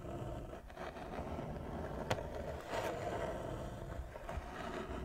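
Long fingernails scratch slowly with both hands across a large, flat wooden chess board with inlaid squares. The result is a steady, low, rough scraping texture, with a few brief brighter scratch accents standing out along the way.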